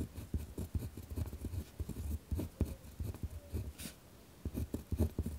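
A pen tip scratches along a thin, torn-out sheet of lined notebook paper on a wooden desk as text is written, while the other hand rests still. The strokes make dense, low, rough scratching in quick bursts. A short quiet pause comes near the end before the writing picks up again.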